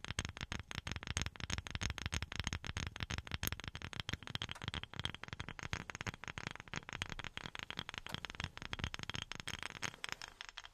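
A wooden object is tapped with silicone rubber pads worn on the fingertips. The result is rapid, continuous taps, each short and dry, with a soft low thump and a bright, crackly edge and almost no ring.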